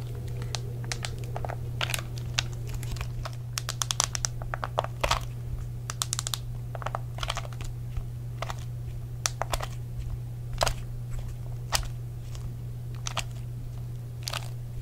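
Fingertips type rapidly on the dark rubber chatpad keys of a hollow, handheld white plastic Xbox 360 controller and press its face buttons. The result is a steady run of quick, dry, bright clicks and taps over a constant low hum, each click stopping almost at once.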